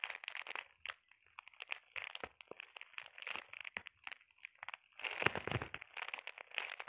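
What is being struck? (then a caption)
Plastic bubble wrap sheet. A flat sheet of clear plastic bubble wrap with air-filled bubbles is scratched and tapped by long painted nails. Bright, crinkly crunches and quick ticking taps come in dense bursts with brief pauses. A fuller, louder stretch of crackling arrives near the five-second mark.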